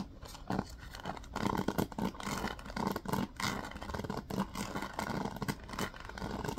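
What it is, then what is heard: Wooden paddle hairbrush. Fingers scratch the plastic bristles of a yellow wooden paddle hairbrush and tap its wooden back. The result is a soft, dense, rustling scratch with a low-mid body around 200 Hz, broken by short dull taps and quick dips into quiet.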